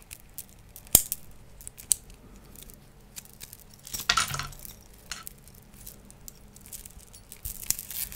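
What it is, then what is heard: Metal link chain. A long silver metal link chain, held in both hands and draped near the microphone, is shaken and handled so its links clink against each other. Sparse, bright metallic clinks and short jingles sound irregularly over a quiet background, with a sharp clink near the start and a longer rattling burst midway.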